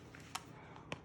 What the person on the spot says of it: it sounds hollow when you when you click it that's a good indication that it's done